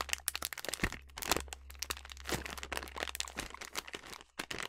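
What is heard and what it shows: A filled yellow plastic snack bag of sliced almonds is crinkled and scratched by fingers and long nails. Dense, bright crackling and crunching sounds come in rapid, overlapping bursts, with a steady low hum underneath.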